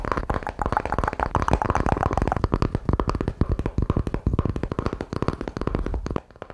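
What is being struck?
Small grooved wooden disc.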